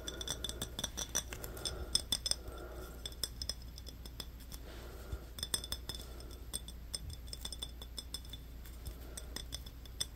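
Fingernails tap and scratch a small, apparently empty glass Yoo-hoo chocolate-drink bottle with a paper label, held in both hands. Quick, bright clinks with very short ring are interspersed with soft papery scratching over a steady low hum.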